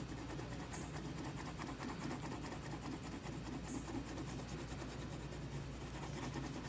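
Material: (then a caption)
Paper. A yellow wooden colored pencil held in the fingers rubs and scribbles across a single flat sheet of white printer paper lying on a table, shading a foal drawing in repeated strokes while the other hand steadies the sheet. A soft, continuous rasping scratch runs steadily throughout, quiet and even, with a low rumbling underlay and faint bright hiss.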